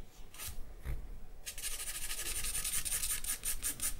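A charcoal stick scratches across a sheet of white drawing paper, with a few separate strokes at first and then rapid hatching strokes. The result is a steady, bright, rasping scratch that pulses with each stroke.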